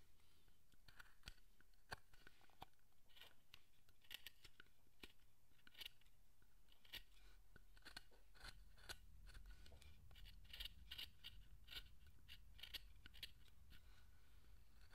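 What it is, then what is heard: Wooden statue being carved with a chisel. A small steel chisel scrapes and cuts fine facial detail into the head of a carved wooden statue. Quiet, crisp, short clicks and scraping cuts repeat at an irregular pace over a low background rumble, each cut bright and quickly fading.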